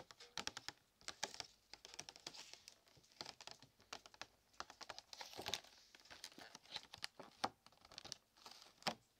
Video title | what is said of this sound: ASMR BINAURAL 3D CHRISTMAS DECORATION TAPPING / RELAXING TRIGGER SOUNDS (SOFT SPEAKING) | I like the way that it sounds when you tap it